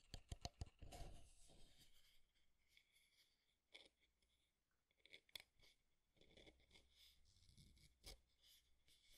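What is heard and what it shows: Fingertips and nails tap along the frame of a small, square, light-wood desk alarm clock held in both hands. Quick, dry, brittle clicks come in irregular bursts, mixed with soft, bright scratchy rubbing against the wood. Each tap dies away almost at once, with a faint low hum underneath.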